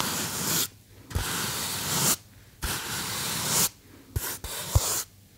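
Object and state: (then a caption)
Polystyrene foam box being rubbed and scratched. Fingertips and nails rub and scratch a small white polystyrene foam box held close. The result is broad, hissy, bright scraping in several long strokes broken by short pauses, with a few brief taps.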